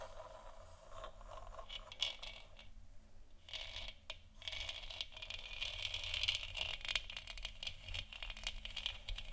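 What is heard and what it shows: Long nails scratch the textured surface of a large hollow plastic moon lamp sphere. The result is a steady run of dry, bright scraping and scratching strokes with a faint low hum underneath.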